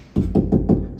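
Four knocks on a drywall wall over a wooden stud, made while locating studs for closet shelves. Each knock is a dull, low-pitched thud that dies away quickly. The knocks sound solid, meaning a stud is behind the drywall.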